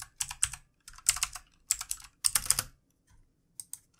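Fast fingertip typing with both hands on a full-size, backlit plastic mechanical computer keyboard with plastic keycaps. Bright, crisp clicks come in quick bursts separated by short pauses, each keystroke stopping almost instantly, with a few isolated taps at the end.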